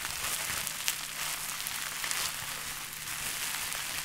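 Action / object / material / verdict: scrape / plastic bubble wrap / plastic / none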